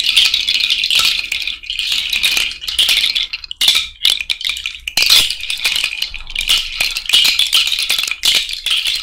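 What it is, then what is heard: Cowrie shell bracelet. A cowrie shell bracelet is shaken overhead by hand, producing a dense, bright clicking rattle centered around 3.5 kHz with almost no low end. The shell clatter comes in bursts with brief pauses between them, each click decaying quickly.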